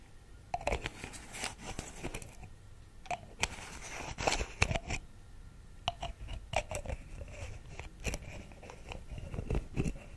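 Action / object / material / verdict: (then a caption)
tap / small plastic pill bottle with screw cap / plastic / none. A small white plastic Vitrum vitamin pill bottle with a screw cap is held in one hand while fingertips and long nails tap and scratch at the cap and body. The result is a run of short, dry, crunchy clicks and scrapes with no ring, spread unevenly across the clip over a low, soft background.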